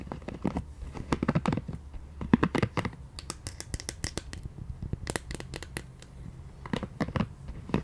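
Long nails scratch and tap a small, soft pink silicone scalp massager brush, a solid piece with flexible bristles. The result is clusters of quick, dry scratchy clicks with bright crackling edges over a soft, low muffled thump, coming in uneven bursts with short pauses between them.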